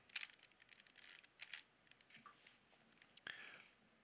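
A small hollow plastic Rubik's cube with colored stickers is held in both hands while the fingertips twist its layers. The result is a quiet run of sharp, bright plastic clicks and brief rubbing scrapes, with almost no low end and very little ring after each click.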